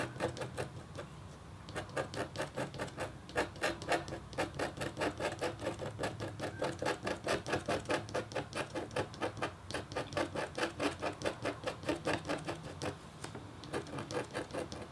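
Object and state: Copper scratch art board being scratched.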